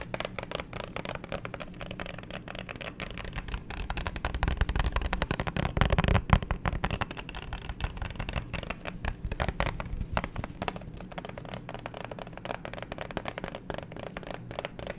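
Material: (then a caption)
Plastic. A hollow, phone-sized clear plastic phone case filled with pink liquid glitter, with a black pop grip on the back, is held in both hands and quickly tapped and scratched with long fingernails. The result is a dense, rapid stream of short, dry clicks and scratchy rustling with a low, muffled body, growing louder around the middle before settling back to a steady patter.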